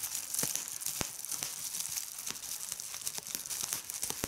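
Fingertips with red nails squeeze a sheet of clear plastic bubble wrap, popping its air bubbles. Sharp, bright pops and snaps break out irregularly over a steady high crinkling hiss, with almost no low end.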